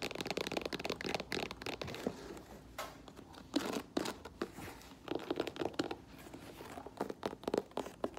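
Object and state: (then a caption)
Faux leather boot with rubber sole. Long nails tap the chunky black rubber heel, the tread sole and the toe of an empty olive faux leather lace-up boot with a rubber platform sole. The result is a rapid, uneven run of dry clicks and scratchy, crinkling taps centered around 470 Hz, with little low end and almost no ring after each tap.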